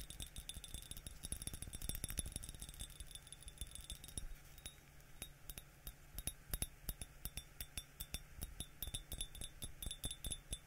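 A yellow glazed ceramic mug with a white interior, hollow and empty apart from sprayed water droplets inside, is held in the hands and tapped on the outside with the fingertips, with a spray bottle held nearby. A rapid, uneven stream of quiet, bright clicking taps dies away almost instantly, over a steady low background hum.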